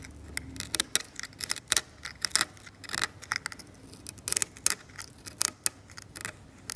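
A metal scalpel scrapes the paint of a varnished oil painting on canvas, seen from a low angle, loosening powdery debris. An irregular series of short, dry, bright scratches rises above a quiet background, each stroke stopping abruptly with almost no ring.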